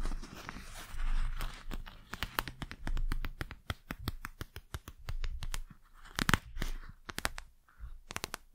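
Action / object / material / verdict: tap / plastic gel-filled eye mask / plastic / none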